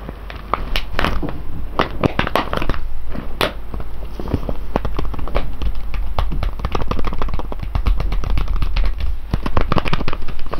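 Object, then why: Foil coffee bag of whole coffee beans. Fingers of both hands press, rub and tap the surface of a full, sealed silver foil coffee bag of whole beans lying on its side. A dense stream of short crinkling crackles and soft taps runs throughout over a steady low rumble.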